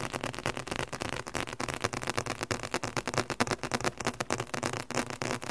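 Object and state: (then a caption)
Leather covered book. Fingertips tap rapidly on the leather cover and page-block edges of a thick, solid red leather book. The taps come in a fast, uneven stream of short, dull knocks that stop almost at once, with a soft papery brightness on top.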